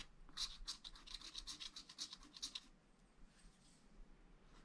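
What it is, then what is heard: Wax-coated scratch art paper being scratched. A wooden stylus scratches lines into the lower right area of a black wax-coated scratch art sheet in a flat spiral pad. A quick series of short, bright, dry scratching strokes rasps for about two and a half seconds, then fades to faint, softer scraping over low background noise.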